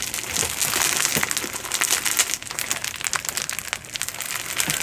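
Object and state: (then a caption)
Foam bead slime. A single handful-sized blob of soft, solid glow-in-the-dark slime packed with small polystyrene foam beads, glowing blue under UV light, is spread out, then squeezed and kneaded by hands with long pointed nails. The result is a steady stream of sticky, crunchy squishing with dense, bright crackles and pops and almost no low end.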